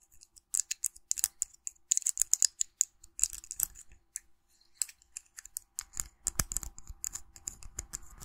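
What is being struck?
Small sculpted resin figurine.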